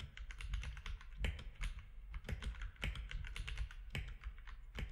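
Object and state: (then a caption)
Plastic mechanical keyboard. Fingertips of both hands type rapidly on a compact mechanical keyboard with grey, white and orange plastic keycaps and a grey frame. A dense, fast stream of short, bright clacks rides over a deep, thumpy low end, with occasional louder strikes standing out from the steady typing.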